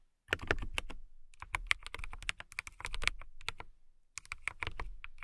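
A compact transparent acrylic mechanical keyboard with clear plastic keycaps and a clear case is typed on with long nails and fingertips. Rapid, uneven bursts of short, crisp keystrokes combine a low thock with a bright click. Two brief pauses split the typing into three runs.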